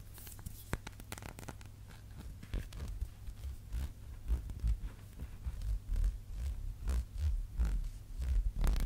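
Fingernails scratch and tap the glass side and label of a small labeled glass candle jar as it is held and turned in the hands. Soft scratchy rustling rises into a series of irregular dull taps and handling bumps, heavy in low-frequency thumps.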